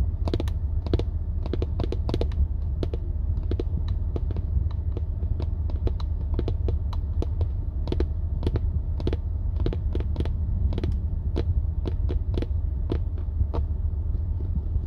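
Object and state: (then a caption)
Plastic steering wheel airbag cover. Long nails tap quickly and irregularly on the lower part of a car's hard, dark plastic, hollow-backed steering wheel airbag cover, close up. The taps are short, bright clicks over a steady low hum.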